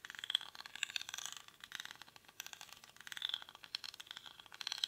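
Fingernails scratch the weave of a small, hollow woven rattan or reed basket held in both hands, its contents not visible. The result is quiet, dry, crackly scratching made of rapid, dense bursts that sit almost entirely in the high, bright range, with no low-end body and no ringing after each stroke.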